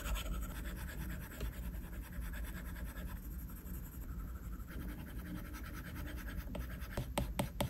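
A plastic stylus tip scratches quick small strokes across a flat glass iPad screen, making a steady dry scratching over a low hum. A few sharp, bright taps on the glass stand out near the end.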